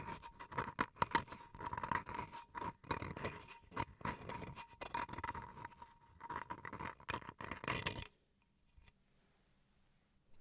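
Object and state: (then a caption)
Bamboo wood cutting board. Fingernails scratch the face of a small solid bamboo wood chopping board in long strokes, producing dense, bright, rasping scrapes with a faint steady tone near 960 Hz running underneath. The scratching continues for about eight seconds, then stops abruptly, leaving near silence.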